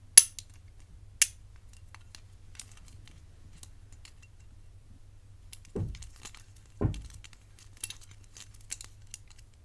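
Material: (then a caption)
Metal. A hollow-centered, rigid gold-tone metal bangle with black enamel inlays is held in the hands and tapped and scratched with long nails. Bright, sharp clinks come first, then two duller, lower knocks and faint high ticks and scrapes, with each sound dying away almost at once.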